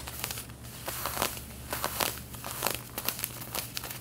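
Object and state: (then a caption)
Denim fabric being scratched. Long red-painted nails rapidly scratch the back pocket of light blue denim jeans that are being worn. The result is a quick series of dry, bright, crinkly scrapes that flare and fade in uneven bursts over a faint steady low hum.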